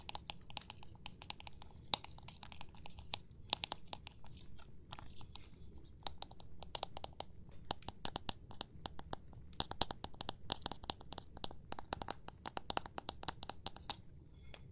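Rapid, irregular tapping on a plastic object produces a dense stream of short, dry, bright clicks with almost no ring. The clicks sit over a steady low background rumble.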